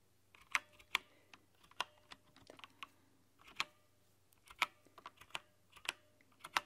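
A white-keycap, RGB-backlit plastic mechanical keyboard is typed on with long nails. Fourteen short, bright, clacky key strikes come at an uneven, unhurried pace, each dying away almost instantly. A faint low hum sits underneath.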